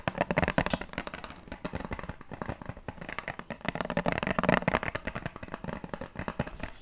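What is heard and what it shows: A small clear plastic water bottle with a purple cap, partly filled with liquid, is squeezed, crinkled and tapped with fingertips and nails. A dense stream of short, dry crackles and clicks follows, with louder bursts near the start and around the middle. Each sound dies away almost at once.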